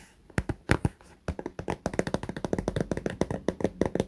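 Fingernails of both hands tap rapidly along the top edge and the clear vinyl window of a small pink fabric cosmetic pouch full of toiletries. A few sparse taps give way to a quick, steady run of short, dry clicks with a low thump beneath them. No ring follows any tap.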